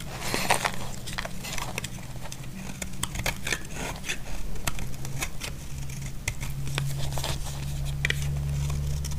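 A utility blade cuts and scrapes flakes from a solid, dry, cream-white bar of soap. Crisp, crackly scrapes and short bright ticks come in quick, uneven bursts over a steady low hum.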